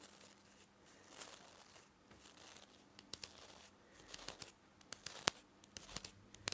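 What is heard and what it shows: A fingertip brushes and scratches across the nylon bristles of a plastic toothbrush head held up close. Dry, bright, crinkly rustling sweeps in and out, broken by a few sharp ticks and snaps toward the end.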